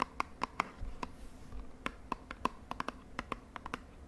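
Long nails tap the end and sides of a small, hollow purple cardboard cosmetic box held upright. About 18 quick, dry, hollow taps come in an uneven rhythm, each with a clear tone near 1.1 kHz and no ring afterward. A faint low rustle sits underneath.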